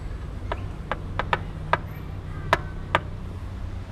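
Knocks on the aluminium and steel body panel of a Vespa GTS 300 scooter give seven short, sharp taps with a bright metallic tone around 1 kHz over a low background hum. Each knock dies away almost instantly, sounding like metal rather than plastic.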